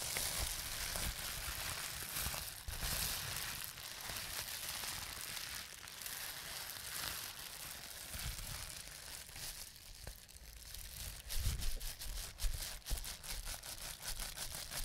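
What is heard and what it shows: A large sheet of clear plastic bubble wrap with small air-filled bubbles is held in both hands and squeezed with the fingertips. Bright, steady crinkling of the plastic runs throughout, broken by sharp pops of bursting bubbles that grow louder and more frequent near the end.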